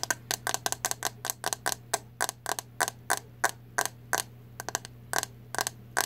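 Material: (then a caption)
Plastic. Long nails tap the hollow green plastic back of a hairbrush, making 26 short, bright, clicky taps in quick bursts and doubles, each dying away almost at once. A faint steady low hum runs underneath throughout.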